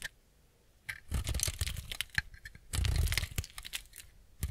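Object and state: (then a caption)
Semi-dry bar soap being shaved. A utility-knife blade shaves and scrapes curls off a small solid piece of semi-dry white bar soap held in the hand. After a near-silent start, two bursts of dry, crumbly scraping follow, each a dense run of crisp, bright crackles over a low thud. The sound stops quickly, and a short scrape closes the clip.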